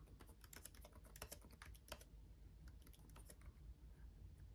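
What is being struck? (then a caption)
Plastic laptop keyboard. Both hands tap with their fingertips on the RGB-backlit plastic keys of a black laptop keyboard. The quick, bright clicks come densely at first and thin out in the second half, over a steady low hum.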